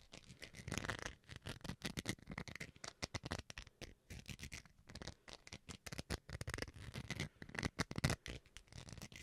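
Fingernails scratch the surface of a small, solid white plastic rice paddle held close to the mic. The result is a rapid, uneven run of short, dry scratching bursts that spread from a low body up to bright, hissy highs. Each one stops quickly with almost no ring.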